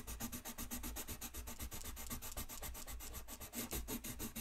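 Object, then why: Colored pencil on a paper sheet. A colored pencil rubs back and forth across a thin white paper coloring sheet lying flat on a desk, shading in quick repeated strokes. Each stroke gives a soft, dry scratchy rasp with a bright papery edge over a low, muffled rumble, blending into a steady rhythmic scratching.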